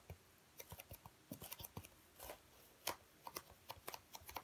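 Fingertips squeeze, rub and scratch a dark speckled black foam packing block with cut-out compartments, held in both hands. The result is a quiet, rapid series of short, dry, crisp scratches and crackles with a bright edge, plus a few longer soft rubbing swishes.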